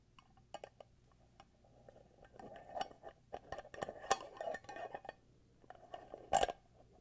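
A small glass candle jar filled with white wax, with a black screw lid, is tapped and scratched on the glass and the lid with fingertips and nails. Quiet, scattered clinks and sharp taps mix with soft scraping, with a faint glassy tone around 780 Hz. A louder cluster of taps builds in the middle and one sharp, bright click stands out near the end.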